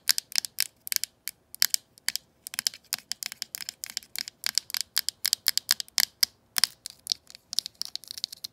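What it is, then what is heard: Plastic telephone handset. Long manicured nails tap and scratch the glossy surface of a hollow green hard-plastic telephone handset held over the phone. Dozens of sharp, bright clicks come in a quick, uneven rhythm, with almost no low end and each tap dying out instantly. Toward the end the taps blur into short, hissy scratching strokes.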